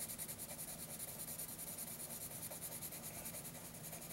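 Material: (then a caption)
Paper. A graphite pencil scratches quick, repeated shading strokes across a lined paper notebook page, giving a steady, dry rasping texture with bright, hissy highs and a soft low rumble underneath. The strokes pulse rhythmically without pause for the whole clip.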